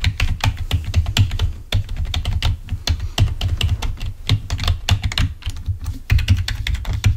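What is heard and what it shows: A full-size black plastic Microsoft wired membrane keyboard lying on a white table is typed on rapidly with the fingertips of both hands. Quick, dense key clicks with a soft, low thud under each press run continuously, with only brief pauses between bursts.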